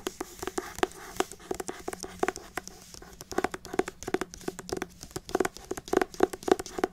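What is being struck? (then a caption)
Hardcover book with matte paper cover. A solid pale green hardcover book with a matte paper cover is scratched and rubbed with long acrylic nails. The result is a quick series of crinkly, papery scratches and light taps with a mid-range body around 375 Hz. Each one is short and dry with almost no ring.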